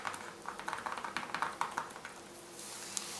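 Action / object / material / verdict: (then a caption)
tap / plastic mailer envelope / plastic / none. Fingertips with long red nails tap and scratch a flat white plastic mailer envelope lying on a dark cloth, making a quick run of light, crisp plastic ticks and scratches with a bright, crinkly edge. The tapping then fades to a soft, steady hiss as both hands rest flat on the envelope, with one last faint tick near the end.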